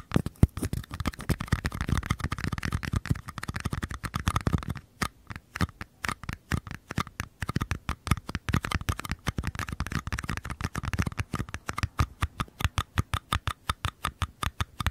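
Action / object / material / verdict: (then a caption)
tap / small paper cups / paper / none. Fingertips and nails scratch and tap the walls of two identical small, empty, hollow paper cups, each held on its side in one hand. Rapid, dry taps with a low hollow thump blend with papery scratching, busier and more continuous in the first five seconds, then breaking into quick, distinct tapping. Each tap dies away almost instantly.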